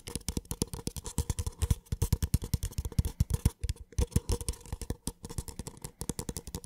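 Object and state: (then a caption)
Empty paper cup. A small, empty, hollow white paper cup is tapped rapidly and scratched on its base and side with the fingertips. The result is a dense stream of quick, dry, hollow taps with almost no ring. Soft scratchy brushing fills the gaps between them.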